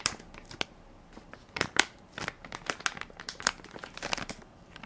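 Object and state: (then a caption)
Plastic baby wipes soft pack. A hand-sized Equate baby wipes soft pack made of crinkly plastic film, full of wipes and held in one palm, is pressed and crinkled by fingertips and nails. Quick, dry, bright crackles come in irregular bursts over quiet gaps, with almost no low end and no ring.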